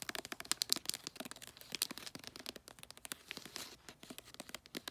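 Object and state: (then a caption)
Glossy paper wrapping on a cylindrical gift. Long nails tap and scratch the side and folded end of a bulldog-print cylindrical gift wrapped in glossy paper. A rapid, uneven run of crisp, dry clicks mixes with crinkly scraping, all bright and high with almost no low end. Each tap stops instantly with no ring.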